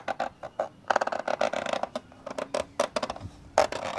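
Fingers rub and scratch inside the black plastic hollow lens hood on a camcorder, making about eighteen short, dry, rasping scratches in an uneven run. The sound is a midrange plastic scrape centered around 630 Hz, with almost no low end and each scratch stopping dead without ringing.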